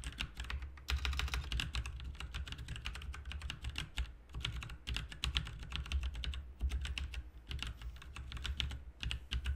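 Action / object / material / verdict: tap / plastic mechanical keyboard / plastic / none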